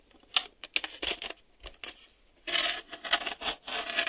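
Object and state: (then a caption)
Plastic VHS cassette tapped with fingernails. Fingernails tap and click along the tape-door edge and underside of a hollow black hard-plastic VHS video cassette. It makes a quick run of sharp, bright clicks with almost no ring and no low end, then denser scratchy tapping in the second half.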